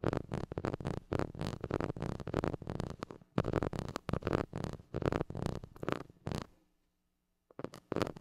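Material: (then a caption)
Metal mesh. A white plastic stick scratches the hollow metal mesh grille of a small gold mini microphone, producing rapid bursts of close, low-heavy rasping and scraping. The scratching runs almost continuously for about six seconds, then fades into a faint low hum and near silence, and starts again briefly near the end.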